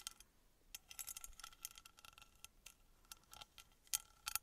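Long nails tap and scratch a small engraved, copper-colored metal pyramid held close to the microphone. The result is a quiet series of bright, sharp clicks and scrapes with almost no low end, each dying away almost instantly, with a couple of louder taps near the end.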